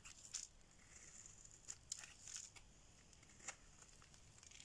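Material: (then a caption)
Soap. A solid, dry orange bar of soap is held in the hand and scraped and shaved with a metal blade. Quiet, bright, crisp scraping and crackling come in short, irregular bursts, with a few sharper dry clicks over a faint high hiss. There is almost no low end and no ring after each stroke.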